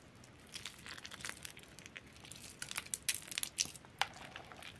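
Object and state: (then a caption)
Soaked bar soap being crushed. A large bar of soap, soaked soft and mushy in a yellow plastic bowl with water, is squeezed and crushed into crumbly soft chunks by hands with long metallic-polished nails. The result is a quiet stream of bright, crinkly crackling and wet crunching with almost no low end. Sharper squelchy pops stand out toward the end.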